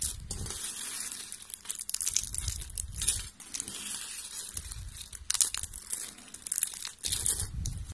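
A pile of thin beige dry soap strips is broken and crushed with both hands and long pink nails. Dense, bright, crackly crunching comes in bursts with dull low rustle underneath, the loudest snaps landing near the middle and end.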